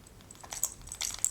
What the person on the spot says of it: you can hear the Lego stitch markers rattling around but nothing is actually really falling out